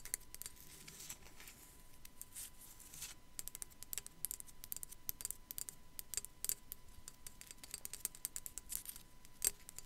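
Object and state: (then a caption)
Ceramic skull figurine scratched and tapped with nails. Long black nails scratch across the top of a small, hollow, white matte sugar skull figurine with raised relief, likely ceramic. The result is a quiet stream of quick, dry scratches and clicks, each bright and crisp with almost no ring, over a faint steady hum.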